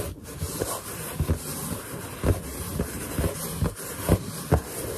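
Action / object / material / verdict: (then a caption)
scrape / inflated latex balloon / latex / none. Long nails scratch and finger pads rub over the surface of a large, hollow, inflated white latex balloon. Soft, dull thumps and low rubbing bumps come through in an irregular rhythm. They sit over a steady, faint hiss.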